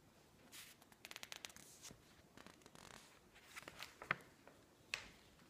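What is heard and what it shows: A woman's fingertips and long nails stroke and squeeze the pages of a thick, open, glossy-paper interior design magazine lying on a wooden table, then turn them. Quiet, bright, papery rubbing and crinkling comes in irregular bursts, with two sharper snapping page flips standing out near the end.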